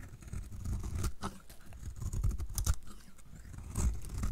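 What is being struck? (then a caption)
Bar of soap scraped with a knife blade. A solid, magenta-painted dry bar of soap held in the hand has its face scraped and shaved with a utility knife blade. The result is a soft, low rasping with irregular dry crunches and brief bright scratches as the blade catches the surface.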